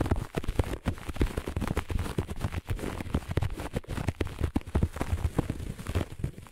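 Long nails on both hands scratch the pile of a flat looped grey-beige carpet. The result is a fast, dense run of dull, low scratching rasps with a faint bright hiss on top.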